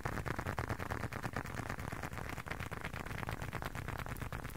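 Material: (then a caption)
Leather. Fingertips and nails tap and scratch the surface of a small, hollow, folded blue and dark leather wallet held close to the mic. The result is a dense, fast, uneven run of soft, dry taps with a deep hollow thump, over a faint bright scratchy rustle, and each tap dies away almost instantly.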